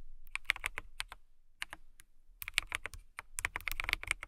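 A transparent acrylic mechanical keyboard with clear plastic keycaps is typed on with long nails and fingertips. Bursts of quick, crisp, bright clacking keystrokes with a light low thud under each are broken by short pauses. Each tap is dry and stops almost instantly.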